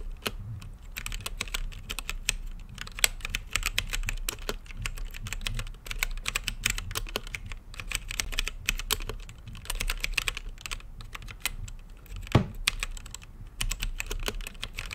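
Fingertips type steadily on a mechanical keyboard with plastic keycaps and a translucent lit case. Dense, quick, bright clicks come in uneven bursts with brief pauses, over a low, constant hum.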